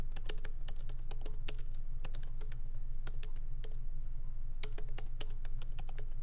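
Fingertips of both hands lightly tap the black plastic keycaps of a MacBook Pro laptop keyboard with an aluminum body, resting on a wooden desk. Quick, irregular clicks in uneven bursts ride over a steady low hum, each click short and bright with almost no ring.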